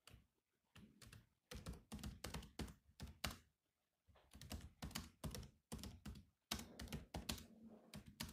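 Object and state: Plastic laptop keyboard.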